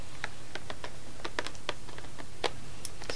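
Long nails tap and scratch the front of a small, flat, orange cardboard Toffifee box filled with candy, lying on a table mat. Quick, light, dry clicks and scrapes come in an uneven rhythm over a steady low hum.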